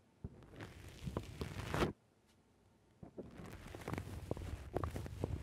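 Fingers squeeze and rub the sides of a black rounded foam windscreen on a microphone, making muffled, low, crackling squishes and rustles. The squishing builds to a loud burst just before 2 seconds and then stops for about a second. It resumes at 3 seconds as a steady run of crunchy squeezes until the end.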